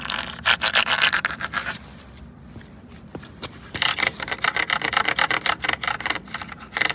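Fingertips and nails rub and scratch a large hollow red plastic traffic cone standing on pavement, with a small dark tool or pen at its ridged top. Quick bursts of bright, raspy scratching come in a loose rhythm, pause briefly for a few faint dull taps, then resume as rapid, scratchy strokes.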